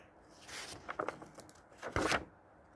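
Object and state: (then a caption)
Old paper book, pages turned. Fingertips lift and turn single yellowed paper pages of a thick, solid old hardcover book from 1948. Soft, bright paper rustling builds, followed by a cluster of quick crisp crackles. The clip ends with a louder papery swish as a page turns over, then fades to quiet.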